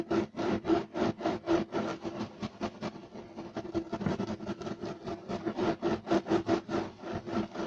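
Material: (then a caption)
Textile. Short nails of both hands scratch fast and aggressively across a solid, flat beige striped woven loop-pile carpet. The result is a rapid run of dry, rasping strokes with a steady tone around 336 Hz. Each stroke dies off quickly, with the rhythm blurring together in the middle.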